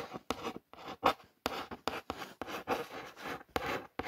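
Long nails trace and scratch along the printed lettering on a hollow brown cardboard ring light box. About ten short, dry rasping strokes are separated by brief silences, with a papery mid-range scratch and little low end.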